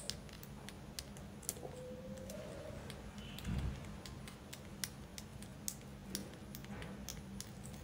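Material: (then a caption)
Selenite. A white, solid, tiered carved selenite tower is held close and tapped and scratched with long decorated acrylic nails. Sharp, bright clicky taps come in an irregular stream over a low steady hum, with a brief scratchy rustle near the middle.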